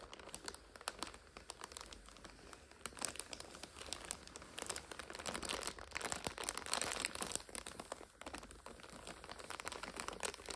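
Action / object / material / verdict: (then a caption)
scrape / plastic-wrapped instant noodle multipack / plastic film / none. Long nails scratch and squeeze a full red and purple instant noodle multipack in its plastic overwrap, making it crinkle. Dense, crisp crackles and scratchy rustles fill the clip, bright with very little low end, rising in intensity around the middle before easing off.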